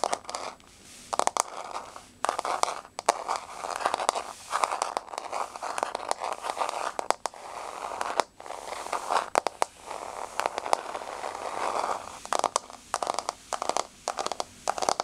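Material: Laminate.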